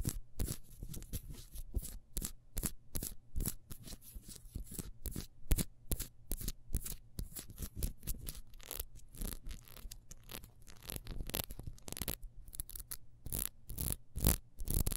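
Long nails scratch fast across the ridges of a small, solid, ribbed wax beehive candle, making a rapid run of short, dry, bright scraping strokes. Each stroke cuts off almost at once, over a steady low hum.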